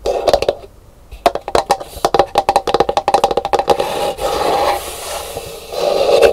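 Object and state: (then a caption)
Hollow empty calabash gourd bowl. Long nails tap quickly and scratch across the dome of a hollow, empty painted calabash gourd bowl resting upside down on a table. A rapid series of sharp, hollow wooden-sounding taps with a midrange knock is followed by a steadier, brighter scratching rasp over the shell.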